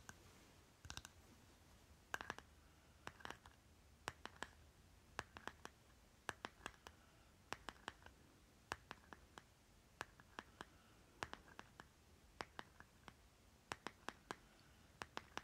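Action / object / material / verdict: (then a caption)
tap / small plastic lip balm jar / plastic / none. A small round green plastic lip butter jar with a label on its lid is held in one hand while the fingernails of the other hand tap and scratch the lid. Sharp, bright clicks come in irregular bursts with a faint tonal ring near 1.6 kHz, separated by soft scratching against a quiet background.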